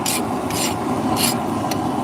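A file is scraped across a heat-treated forged steel knife blade to check its hardness, producing bright, high-pitched rasping strokes over a steady lower hum. The high-pitched sound means the blade is hardened enough for its intended purpose.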